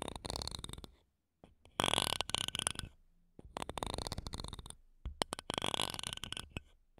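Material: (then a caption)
Metal mesh. Wooden toothpicks held between long nails scratch the metal mesh grilles of two small silver condenser microphones. The result is close, crackly, bright scratching in dense bursts with brief silent gaps between them.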